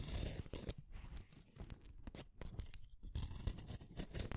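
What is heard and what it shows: A small metal blade shaves a solid purple wooden colored pencil, making a quiet run of dry, rasping scrapes. Each short stroke carries a bright crackling edge over a heavier low rumble and stops with no ring.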